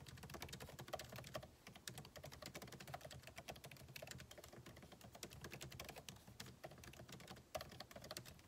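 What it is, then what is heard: Laptop keyboard with plastic keys. Fingertips of both hands type rapidly on a solid, backlit MacBook Pro keyboard with plastic keycaps in an aluminum body, resting on a desk. A steady stream of quick, dry key taps carries a low thump under bright clicks, with a few sharper, louder strikes standing out.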